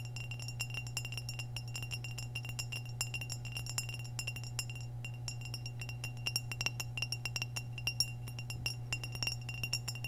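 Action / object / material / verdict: tap / glazed ceramic vase / glazed ceramic / none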